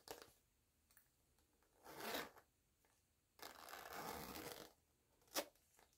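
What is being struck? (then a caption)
Coated fabric zipper pouch. Long-nailed fingers slide the pull of a black zipper along the top of a small, flat, empty or nearly empty cosmetic pouch made of glossy coated, oilcloth-like fabric, white with black, yellow and white polka dots, while both hands handle the crinkly material. Two bright, raspy zipping sweeps stand out, a short one near the second mark and a longer one in the middle. Soft crinkles and taps come between them, and a sharp click follows near the end.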